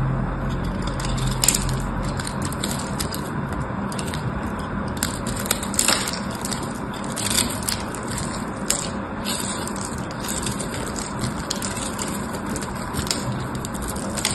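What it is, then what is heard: Bar soap being scraped. A small knife scrapes and cuts flakes from a solid, palm-sized purple bar of soap with a diamond-textured surface, held in the fingers. A steady, dense crunching scrape runs throughout, broken by many sharp, bright crackling ticks as the blade bites into the soap.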